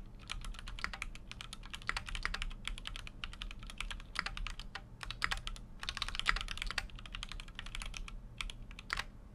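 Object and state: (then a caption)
Mechanical keyboard being typed on. Fingertips type continuously on a full-size Keychron Q6 mechanical keyboard with an aluminum case and plastic keycaps. A steady stream of quick, bright clacks is heard, each stopping almost at once, with occasional louder strikes over a faint low hum.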